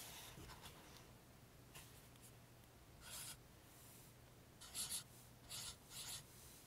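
A pink felt highlighter is rubbed along printed rows of an open paperback guide whose pages are flattened by hand. Quiet, dry felt-tip-on-paper rasps come in short bright bursts over a faint low hum.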